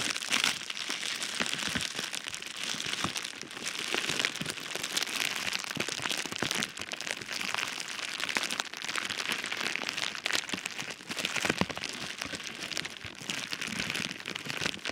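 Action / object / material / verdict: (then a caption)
scrape / foil-faced bubble insulation wrap / metallized foil / none. Fingertips and nails scratch, rub and squeeze silver foil-faced metallized bubble insulation wrap folded over a package inside a cardboard box. The result is a steady, dense, bright crinkling with many sharp crackles.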